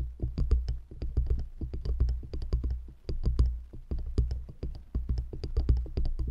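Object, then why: Stacked wooden rings. Long nails tap quickly on the tops and sides of two stacked solid wooden rings set around a microphone. The result is a rapid, uneven patter of short, dry taps with a deep, boomy low-end thump and faint bright clicks at the nail tips. Each tap dies away almost at once.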